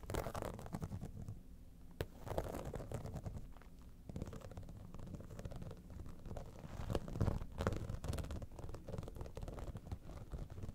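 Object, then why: Vinyl cosmetic bag. Long nails scratch across the top surface and front seam of a holographic vinyl cosmetic bag, an iridescent, dimpled synthetic pouch. The result is a dense, irregular run of dull, rumbling scratches with short crackly bursts, carrying mostly low, muffled energy and very little brightness.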